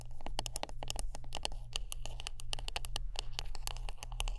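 Close-up tapping and scratching on a wooden brush: a quick, irregular run of sharp, dry clicks with bright, crisp tops. Each click dies away almost at once over a steady low hum.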